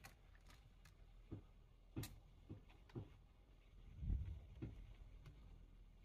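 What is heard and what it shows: Both hands type quickly with their fingertips on the plastic keys of a full-size black plastic computer keyboard. Irregular, short, dull key thumps and soft clicks sound over a low background rumble, with a heavier cluster of presses near the middle.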